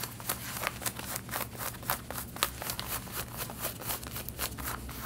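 Long red-painted nails scratch the back pockets and yoke of light blue denim jeans being worn. Repeated short, bright, rasping strokes come in quick succession over a faint steady low hum, each one dying away almost at once.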